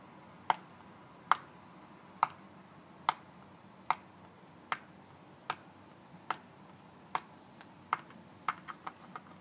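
A fingertip taps and scratches near the end panel of a closed paperboard Colgate toothpaste carton, about 20 cm long, held flat in both hands. Fourteen short, dry papery ticks with a hollow tone around 1.2 kHz stop almost instantly, spaced fairly evenly at first, then come as a quicker, softer cluster at the end over a faint background hiss.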